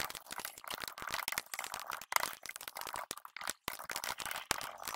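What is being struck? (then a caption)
Plastic computer keyboard. Fingertips of both hands rapidly tap and press keys across a plastic RGB-backlit computer keyboard with hollow plastic keycaps on a solid base. The result is a quick run of light, dry, clicky plastic clacks with a bright, hollow tone and no low thump, each dying away almost instantly, with a couple of brief pauses.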